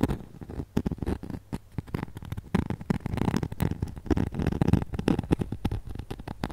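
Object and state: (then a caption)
Glitter-coated foam ornament. Long nails rapidly scratch and tap the glittery face and arms of a flat, glitter-coated foam snowman ornament held up close. The result is a dense run of short, dry scratching and tapping sounds with a low, thumpy body and very little high end.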